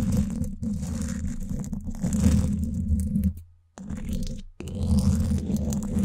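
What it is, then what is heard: Metal mesh microphone grille being scratched. Two thin wooden sticks scratch both sides of the woven steel mesh grille on the hollow dome of a Blue Yeti microphone. The result is a dense, low, rumbling scrape with a faint bright hiss. It fades into near silence twice before the scratching resumes at full strength.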